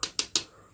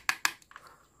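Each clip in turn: First: Three crisp, high clicks with almost no ring: a hard, stiff plastic power strip housing. Second: Two quick, dry clicks with no ring; thin, flexible plastic housing of a power strip.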